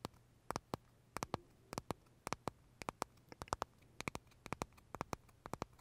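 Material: Meringue.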